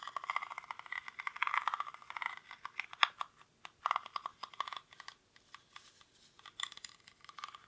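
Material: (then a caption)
Rattan. Fingernails scratch the weave of a small, hollow woven rattan/reed basket held in both hands, its contents not visible. The result is a dense run of dry, crackling scratches and rapid clicks, centred in the midrange with bright edges and no low end. The scrapes come in uneven bursts with short pauses.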